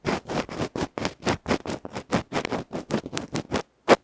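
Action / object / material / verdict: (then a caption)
scrape / electret microphone capsule, metal can with felt cover / felt, metal / none. A tiny electret microphone capsule, a metal can with a felt cover held between fingertips, has its felt face scratched by a bamboo ear pick. A rapid series of short, broadband scraping strokes rasps close and loud. After a brief silence, one final, louder stroke ends the clip.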